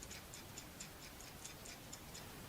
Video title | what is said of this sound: ⚠️Glock Safety Checks (The RIGHT Way) MGB Chief Instructor | shake the slide so I hear a rattle